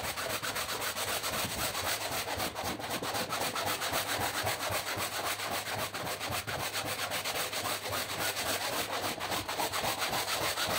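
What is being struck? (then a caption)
Woven fabric rug scrubbed with a stiff-bristle brush. A long-handled stiff-bristle push brush scrubs a large, very dirty woven fabric rug lying flat on the floor, soaked and foamy, with rubbing and scratching strokes along the pile. The result is a steady, brisk, continuous wet scrubbing with a bright, hissy texture and very little low end.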